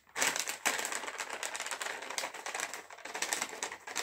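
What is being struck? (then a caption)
Metallized plastic chips packet. A sealed, full and puffed green metallized plastic chips bag is tapped and flicked with fingernails. It gives a steady run of bright, crackly crinkling with sharp taps over the whole clip, with almost no low end.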